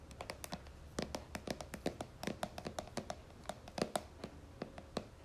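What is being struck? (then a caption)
Plastic cream jar base. Long fingernails tap and scratch the white plastic base of a plastic cream jar held upside down. The result is a rapid, uneven run of short, dry clicks, each with a brief hollow tone around 680 Hz, mixed with faint scratchy hiss between taps.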